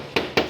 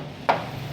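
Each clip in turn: First: unrepaired sheet-steel car body panel, tinny sound. Second: car body panel with filler under the paint, dull knock.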